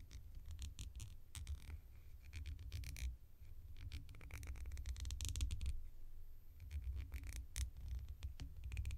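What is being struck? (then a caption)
Small round plastic lid. A small, round, hollow cream-coloured plastic lid is turned edge-on and scratched and tapped along its rim with long nails. Quiet, rapid, dense scratching and clicking play over a steady low rumble, with brief bright taps standing out now and then. Each tap dies away almost instantly.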